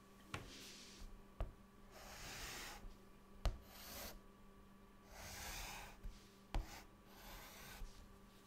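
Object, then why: Chalk stick on a chalkboard. A white chalk stick held in the fingertips draws lines across a flat, solid, dark chalkboard, making soft scratchy rubbing strokes with bright, hissy bursts. Four sharp taps stand out where the chalk meets the board, over a faint steady hum.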